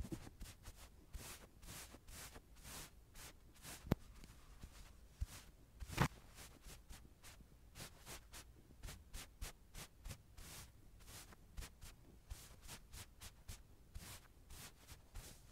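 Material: Plush fabric.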